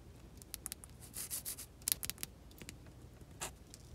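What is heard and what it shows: An unwrapped, solid, cream-colored, rectangular olive oil soap bar, hand-sized, is held in the hand and scratched and rubbed with long glitter nails. Quiet, bright, dry scratching ticks and brief rubbing strokes sound over a soft low hum. Each sharp tap dies almost instantly.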